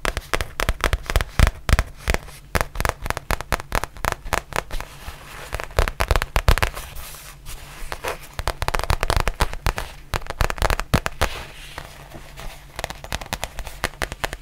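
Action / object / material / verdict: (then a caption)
tap / faux leather zip pouch / faux leather / none. Long nails tap and scratch the surface of a black textured faux leather zippered pouch held near the camera. Dense runs of quick, dry, crackly taps come in uneven bursts, with softer scratching between them. Each tap stops almost at once, and the sound stays heavy in the low end.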